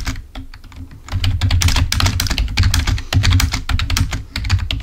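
A full-size black plastic Microsoft membrane keyboard, wired and lying on a white table, is typed on with the fingertips of both hands. Rapid, bright key clicks start light and sparse, then grow into a dense, louder flurry of clacks over a steady low hum.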